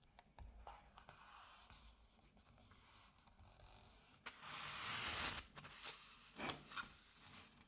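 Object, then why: Paper comic book pages. Fingertips rub the paper page of an open Asterix comic album and turn it. Quiet, bright papery rubbing and scratching gives way to a louder swishing sweep as the page turns, followed by a few soft crinkling flicks as it settles.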